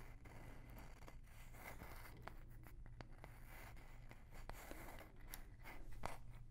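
A small, light-colored, palm-sized wooden block or box that looks solid is held close to the microphone and tapped and scratched with long nails. Soft, dry scratching runs throughout, broken by light, short taps with a brief ring, over a steady low hum. The whole clip is quiet and close.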